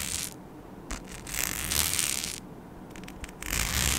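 Long nails scratch a flat, palm-sized rhinestone-studded mic skin sheet, producing bright, hissy scraping bursts that swell and fade in irregular passes. Short gaps of quieter rustle separate the louder scratching stretches, which carry faint clicky texture from the studs.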